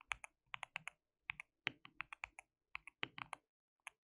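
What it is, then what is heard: Plastic mechanical keyboard being typed on. Both hands type continuously with their fingertips on a compact, white-cased mechanical keyboard with a hollow case, white and pink plastic keycaps and RGB backlighting. About 20 short, bright, clicky keystrokes come in uneven bursts with tiny pauses, each dying away almost instantly. The overall sound is quiet and crisp, with very little low end.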